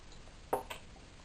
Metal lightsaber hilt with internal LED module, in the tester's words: this LED module can kind of move around a little bit see what I'm shaking it you can hear it moving around